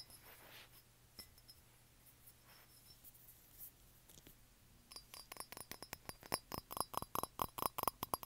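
Fingertips and nails tap and scratch around the sides and rim of a small, hollow, blue-grey glazed ceramic cup that sits empty on carpet. Faint, scattered scratches and light clicks give way after about five seconds to fast, irregular tapping. The taps make bright, short clinks with a faint ringing tone around 1 kHz.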